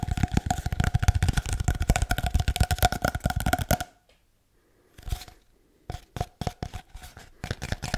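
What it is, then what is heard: Hollow cardboard tube. A long, hollow, empty cardboard paper towel tube is scratched and tapped with nails and fingertips, giving dense, rapid, hollow-sounding taps and scratches with a faint resonant tone for about four seconds. After a short silence and a brief scratch, a looser series of separate, dull taps follows to the end.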